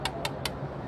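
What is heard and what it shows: Three knocks on the aluminium plate fuel tank cover of a Yamaha MT-09 motorcycle give short, bright metallic taps that sound like metal rather than plastic. The cover on the 14-litre tank is aluminium, not plastic.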